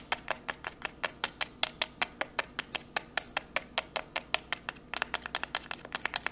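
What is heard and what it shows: A long, narrow, hollow white cardboard box labelled MOVO is held up in both hands and tapped and scratched with long grey nails. About 38 fast, sharp taps come in a steady rapid rhythm, quickening near the end. Each is a dry, bright click with no ring and almost no low end.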